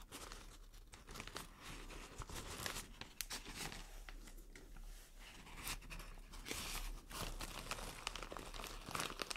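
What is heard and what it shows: A white printed plastic shower cap is held and squeezed while long nails crinkle it. Dense, bright crackling and crinkling runs through the whole clip, with many sharp ticks over a faint low hum.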